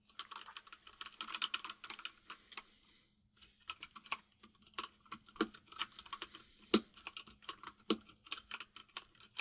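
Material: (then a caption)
Plastic. Fingertips of both hands type on a full-size plastic mechanical keyboard with white and grey plastic keycaps. Quick, bright clacks come in dense bursts, with a brief pause near the middle. A faint steady low hum runs underneath.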